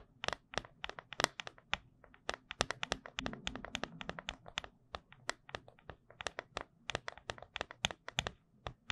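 Long acrylic nails tap and scratch the top of a round, silver, hollow and empty metal tin lid held flat above the microphone in both hands. Dozens of quick, sharp, bright clicks land in an uneven rhythm, with a stretch of softer scratching in between. Each tap dies away almost instantly.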